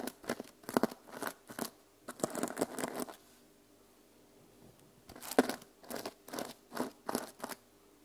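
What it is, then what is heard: Plastic sequin cover being scratched. Fingertips and long nails scratch and flip the teal and silver plastic sequins on the cover of a small journal held flat. Quick bursts of crisp, bright rattling and clicking come in clusters, with a quiet pause in the middle before the scratching resumes.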